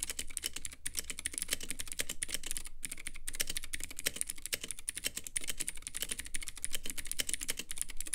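Fingertips of both hands type steadily on a Womier K66 compact mechanical keyboard with Gateron Blue clicky switches, white plastic keycaps and a clear lit acrylic case. A dense, fast run of sharp, bright clicks and clacks continues for the whole clip, with only brief pauses near 0.8 and 2.8 seconds, over a faint low hum.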